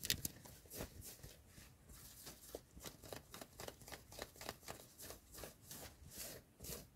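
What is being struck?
Cotton hoodie fabric.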